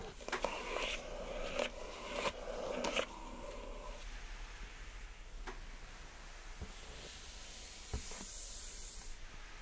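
Long acrylic nails scratch and tap the smooth top and edges of a pink rigid cardboard Glossybox lid on a hollow gift box. Sharp taps punctuate a dry, papery scratching with a faint hollow resonance through the first few seconds. The sound then thins to a soft, steady hiss, broken by a few lighter taps and a brighter airy brush near the end.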